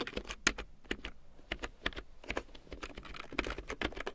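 A full-size large print keyboard with a black plastic frame and big yellow plastic keycaps, lying on faux fur, is typed on with long painted nails and fingertips. Quick, uneven taps give crisp, bright plastic clicks with a slight low thump, each dying away almost instantly.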